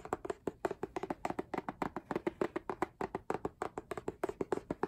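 Fingertips and nails tap rapidly on the front of a book-sized, solid K-pop album with a rigid laminated cardboard hardcover and a printed photo-collage front. About 33 quick, dry taps sound in a steady, uneven patter, each a short hollow knock centered around 375 Hz that dies away almost instantly.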